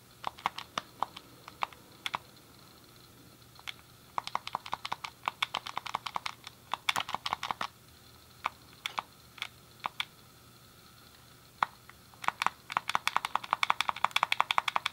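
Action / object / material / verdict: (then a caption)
tap / plastic game controller / plastic / none. A thumb clicks the D-pad and fingertips press the face buttons of a hand-sized, hollow, grey plastic SNES game controller. Sharp, dry plastic clicks come in uneven bursts with short pauses, building to a dense, rapid flurry at the end. Each click is bright and snappy, with almost no low end and no ring.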